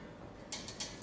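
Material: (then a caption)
Steel. An LPG gas regulator, freshly fitted to a new cylinder, is shaken so the steel ball in its safety valve rattles. Four quick, bright metallic clicks are heard over a quiet background. The rattle shows the safety valve has already opened, which is normal.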